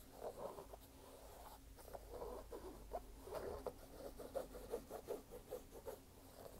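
A single hollow, empty red canvas low-top sneaker with a white rubber sole is held in one hand while fingertips tap and scratch its canvas upper. Soft, dull taps stand out over a quiet, continuous scratchy rustle, all muted and mid-pitched with almost no high-frequency brightness.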